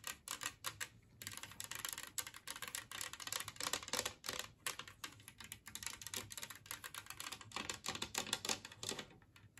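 Long painted nails tap and scratch the surface of a large, flat, green glazed ceramic serving plate shaped like a Christmas tree, lying empty on a wooden table. The result is a dense, rapid run of short, bright clicks and scrapes with almost no ring or low end, rising and falling in bursts that sound like fast typing.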